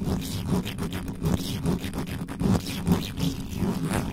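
Both hands cup the bare metal mesh grille of a black microphone with a hollow head and scratch it with the fingertips and the tops of long nails. The result is a dense, continuous scratching and rustling, heavy in the low end with a faint hum, that swells in uneven bursts throughout.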